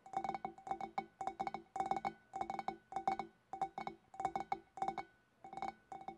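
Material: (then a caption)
Glass. Long black nails tap a large, hollow, empty clear glass fish bowl, first on its shoulders and then on its sides from behind. Quick clusters of light, glassy clinks ring with a steady mid-pitched tone near 770 Hz and bright overtones, separated by brief pauses. Each tap dies away almost at once.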